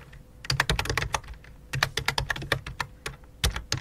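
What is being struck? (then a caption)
Plastic computer keyboard. Fingertips type on a full-size white and light-blue plastic computer keyboard with a hollow plastic body. Quick bursts of sharp, bright key clicks with low thumps fall in uneven runs separated by brief pauses. Each tap dies away almost instantly.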